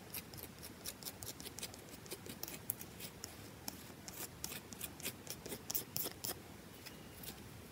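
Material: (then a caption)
Soap. Long nails scratch and tap quickly on a carved, solid bar of soap with a V notch, held in the hand. The result is a rapid run of crisp, bright, dry clicks and scrapes with no ring over a faint low hiss.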